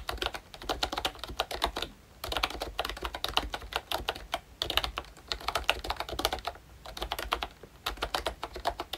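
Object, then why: Plastic membrane keyboard. Fingertips type on a pink plastic retro membrane keyboard with round keycaps and a hollow body, a Disney Mickey Mouse model by ROYCHE. Bursts of rapid, bright, clacky keystrokes with short plastic taps run in runs separated by brief pauses near 2, 4.5 and 7 seconds.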